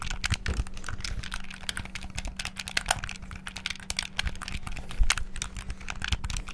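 Rapid fingertip button presses and tapping on a black, hollow plastic Xbox-style gamepad held close to the mic. It makes a dense, continuous stream of short, dry plastic clicks and taps that die away almost instantly, over a steady low hum.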